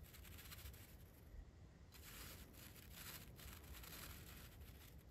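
The bristles of a large paintbrush sweep up and down over the blue painted metal body of a Blue Yeti microphone. The result is a soft, continuous scratchy swishing with bright, airy bursts on each stroke over a low, muffled rumble. It stays quiet throughout and grows a little fuller in the second half.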